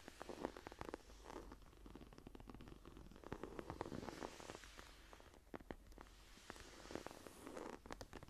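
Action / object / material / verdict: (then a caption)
scrape / leather-covered journal / leather / none. Long nails scratch and tap with both hands on the green, grainy leather cover of a closed journal lying flat. Soft, dense scratching fills the clip, broken by many short, crisp taps.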